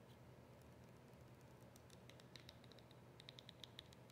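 Long acrylic nails tap and scratch a small, hollow, partly full white plastic squeeze tube of cream with a yellow cap. Quiet, steady scratchy rustling runs throughout, with light, bright, clicky taps picking up in the second half.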